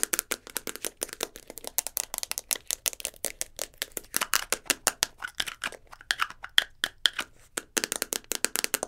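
A small round translucent plastic tub holding a roll of tape is held in the hands and rapidly tapped and scratched with long blue nails. The result is a fast, dense stream of sharp, bright plastic clicks and scratchy rasps that die away almost instantly, with almost no low end.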